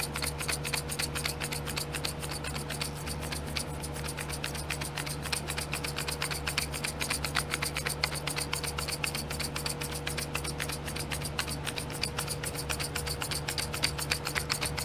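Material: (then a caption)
Plastic. Long glittery nails tap and scratch the lids of small clear domed plastic glitter pots sitting in a pink plastic tray. The result is a fast, slightly uneven stream of crisp, bright clicks and scrapes over a steady low hum.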